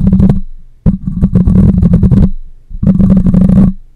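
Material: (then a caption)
Metal mesh. Fingernails scratch across the metal mesh grille of a black microphone while fingers grip it, producing three bursts of dense, rumbling, crackly friction noise. The sound is heavy and low with a steady hum-like body, and it fades quickly between bursts.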